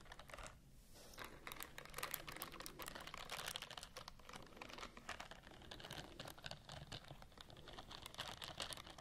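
A white silicone scrubbing glove with a bristled palm and fingers, worn on one hand, has long nails scratching along its bristles. The result is a dense stream of fast, dry, crackly clicks and scratches, bright and close, like rapid typing, continuing steadily with a brief lull near the start.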